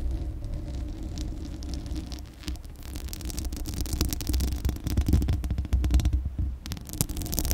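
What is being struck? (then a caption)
Metal mesh microphone grille. Long acrylic nails scratch the hollow, bare metal mesh grille of a Blue Yeti microphone, producing a dense, low rumbling and throbbing scrape. Brief bright, crackly bursts flicker through it and grow louder in the middle of the clip.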